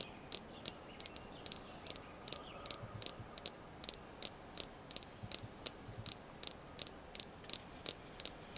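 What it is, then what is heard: Red jasper stone star. A small, solid, polished red jasper star stone is tapped and scratched with long nails. About 26 sharp, bright clicks come in an irregular rhythm, each dying out almost instantly, with faint soft scratching and a low hiss between them.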